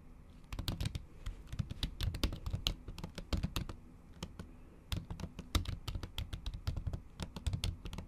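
Long acrylic nails tap quickly across a MacBook keyboard covered by a thin pink plastic or silicone cover while typing. The keys give fast, irregular, dull plasticky taps with bright clicky tips that stop almost at once, coming in bursts with brief pauses between.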